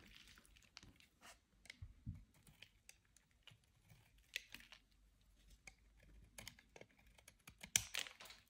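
A utility-knife blade carves and scrapes shavings off the end of a solid, dry, hand-sized white oval bar of soap held in the hand. The result is quiet, bright, crisp scraping and crackling in short irregular bursts with almost no ring. One sharper, louder scrape comes near the end.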